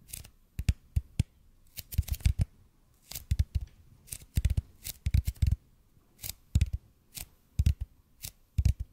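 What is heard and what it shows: Fingertips slowly tap and lightly scratch a large, hollow, red-and-white EPP bead foam roller held close to the mic. The result is irregular clusters of short, dull, low thumps with almost no ring, topped by faint bright scratchy edges and separated by quiet pauses.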